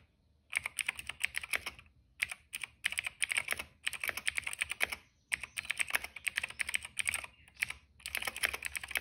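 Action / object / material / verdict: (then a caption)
tap / plastic mechanical keyboard / plastic / none. Fingertips of both hands type on a retro-style cream plastic mechanical keyboard with black and purple keycaps. Bright, dry clacking keystrokes come in rapid bursts separated by short pauses, each stroke stopping almost instantly with no ring.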